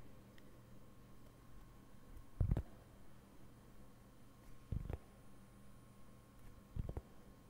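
Fingertips lightly tap and scratch the surface of a round, flat, solid cork board held up close. Three sparse bursts of soft, dull taps stand out against a quiet background, each one a short double knock with almost no ring. The sound is low and muffled, with a faint steady hum between the hits.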